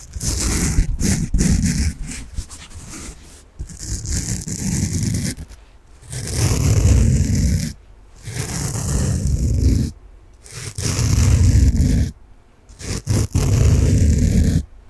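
A large, solid, peach-coloured soft foam sponge is held in both hands and scratched and rubbed with fingernails. It makes dense, rough, low scratching and rubbing bursts separated by short quiet pauses. The strokes sound deep and muffled, with a faint bright hiss on top.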